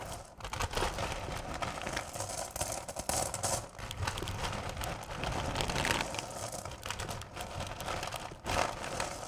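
Hands with long purple nails scoop, lift and rake through a bowl full of small, solid candy corn pieces, letting them drop back into the bowl. The result is a steady, dense rattling and crinkling clatter with bright, crisp edges and a low rumble beneath. It swells briefly as the pieces pour back down.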